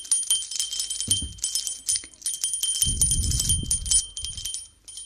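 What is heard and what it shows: A small gold-coloured brass bell, hollow with a clapper and hanging from an orange braided ribbon, is held up by the fingers and shaken and swung beside a binaural microphone's ear. It gives a quick, irregular bright jingle with steady high ringing tones that fade fast between shakes. Low rumbling handling noise swells in under the jingle around the middle and second half.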